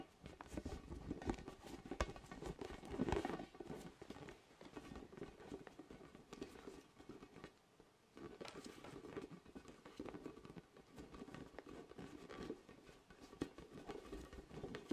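A large, orange, hollow, inflated vinyl spiky ball is held in both hands close in front of the microphone and tapped with the fingertips. The result is a quiet, continuous patter of soft, hollow taps that are mostly low and mid in tone, with little brightness and almost no ring. The tapping eases into a near-silent lull just before the eight-second mark, then resumes.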